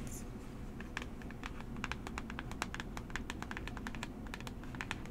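Long fingernails tap and trace across a small, hollow, rectangular blue and orange cardboard box for Coola SPF 30 held in one hand. Quick, crisp clicks and light scratching come in an uneven stream for about five seconds, bright and brief over a steady low background hum.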